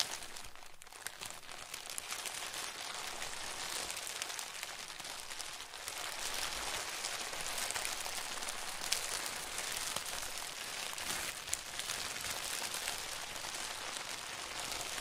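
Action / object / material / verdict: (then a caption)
scrape / cellophane plastic film sheet / cellophane / none. A loose, crumpled sheet of thin, clear plastic cellophane, bunched into a hollow mass about two hands in size, is squeezed, crinkled and rubbed between both hands using fingertips and short dark-painted nails. It makes a dense, steady, bright crackling crinkle that is mostly high-pitched with little low end. The sound is slightly softer for the first few seconds, then stays fuller and constant to the end.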